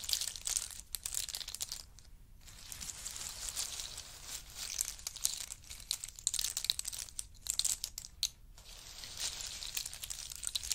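Fingers of both hands rummage through and stir a heap of pistachios in their hard shells. The result is a dense, bright clatter of shells clicking and rattling against each other, with almost no low end. The sound comes in continuous bursts with brief quieter pauses around 2 and 8.5 seconds.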